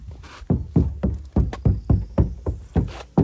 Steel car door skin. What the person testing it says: the driver's side door which used to sound the same sounds nice and door-like